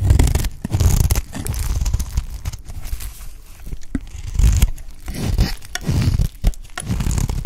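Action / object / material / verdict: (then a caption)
scrape / soap bar shaved with a knife blade / soap / none. A pale green solid bar of dry soap, held in the hand, is shaved with a utility knife blade into thin curls. Repeated dry, crunchy scraping strokes rise and fall, with a heavy low rumble and faint bright crackle.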